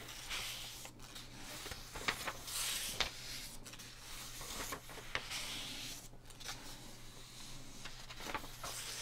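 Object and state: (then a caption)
Paper magazine pages being rubbed and turned. Bare fingertips and palms rub across the pages of an open paper price-guide magazine lying flat on a dark table, turning its thin sheets. Bright, hissy paper rustles and swishes rise and fall in long strokes, broken by a few sharp crinkles and soft taps, over a steady low hum.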